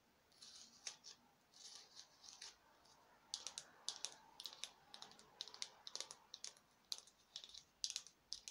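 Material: Foam.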